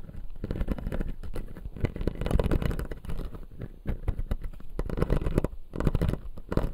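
Fingertips and nails scratch and tap the front teeth of a hand-sized, clear blue-tinted acrylic jaw model with white resin teeth, lit from below. A dense, continuous stream of soft, dull scratches and quick clicky taps rises and falls in intensity, with most of the energy low and little bright detail.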